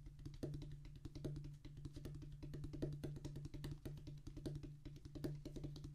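Both hands drum rapid fingertip taps on a solid, flat rubber drum practice pad with a black rubber top on a tan cork-like base. The result is a dense, uneven flurry of short, dull, low thuds with a steady low tone near 145 Hz, each tap carrying a faint bright click and dying away quickly.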